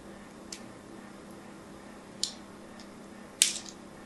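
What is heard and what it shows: A thin needle tool scratches a solid pink bar of soap covered in score lines, giving a few short, bright, crisp scrapes spaced apart over a quiet, steady background hum. The last scrape is the loudest and trails off with a brief rasp.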